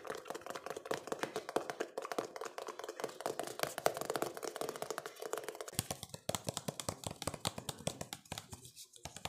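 Fingertips and nails rapidly tap and scratch a hollow, empty-looking cylindrical plastic jar, clear and white with blue bands and a lid. Dense, fast clicks ride over a hollow resonant tone near 680 Hz, with a faint high scratchy hiss. After about six seconds the low body drops away and the taps become sharper, drier and more spaced.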